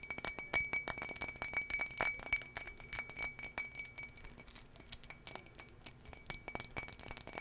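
Long nails tap all over the outside of a medium, empty turquoise drinking glass with an embossed, textured surface, held in hand close to the mic. Rapid, irregular bright clinks keep coming for the whole clip, each with a short glassy ring around 2.3 kHz that dies away quickly. The clinks vary from sharp to soft.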